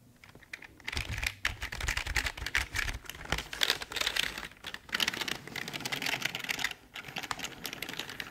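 Fingertips press and tap the keys of a full-size, hollow black plastic Logitech keyboard in quick, uneven bursts. The sound is bright, dry plastic clacking with almost no ring, with brief pauses between runs and a low thump under the strokes early on.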